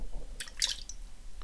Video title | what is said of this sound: Random Talk! Gamestop Stock - Numbers Stations - Current Events | you could hear it sloshing around a little bit there's a straw in the mix